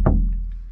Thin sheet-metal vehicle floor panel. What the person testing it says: when you tap it, if you ever listen, you'll hear just how tinny it is